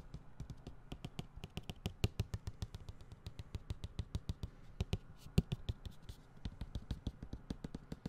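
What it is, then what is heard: Hollow closed cardboard box. A white, medium-sized cardboard tablet box with a tablet image on its side, hollow and closed, is held in one hand and tapped repeatedly with the fingertips and nails of the other. The result is a quick, uneven run of short, dry, hollow thuds, mostly low in tone, with faint bright clicks from the nails. Each tap dies away almost instantly.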